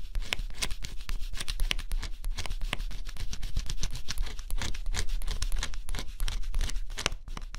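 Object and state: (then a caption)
Scratch-off cardboard puzzle being scratched. A thin stylus held in a fingertip grip scratches the black coating off a flat cardboard scratch-off jigsaw puzzle, close up. Quick, dense scratching strokes with crisp, bright edges run continuously over a steady low rumble, with no pauses.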